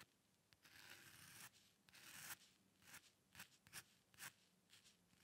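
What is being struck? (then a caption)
Metal dip pen nib on a paper sheet. A metal dip pen nib, held by fingertips, is pressed and scratched across a thin, flat white paper drawing sheet resting on a dark surface in repeated quick hair strokes. The result is quiet, bright, dry scratching: two longer strokes followed by a run of short, crisp flicks with little low end.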